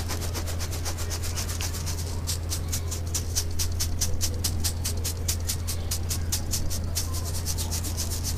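A handheld stainless steel mesh strainer holding grey cement chunks and powder is shaken by hand over a pile of cement dust. It makes a fast, steady run of bright, gritty rasps over a constant low hum. The powder sifts through until only the lumps remain in the once-full strainer.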